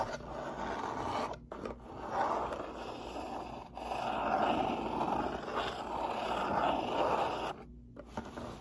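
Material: Cardboard.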